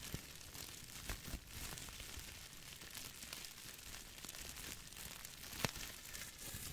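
A small, hand-sized, crumpled piece of clear plastic bubble wrap with hollow air bubbles is squeezed and crinkled with the fingertips. It makes a steady, quiet, bright crackling, broken by a few sharp, short snaps, the loudest near the end.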